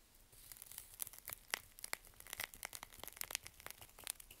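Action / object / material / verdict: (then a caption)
scrape / bar of soap / soap / none. A small curved knife scrapes and shaves the edge and face of a solid, dry bar of Svoboda "Green Tea" toilet soap held in a gloved hand. The result is about two dozen quiet, crisp, crunchy crackles and snaps in an irregular run, bright and dry with a sharp tone near 2 kHz and almost no low end.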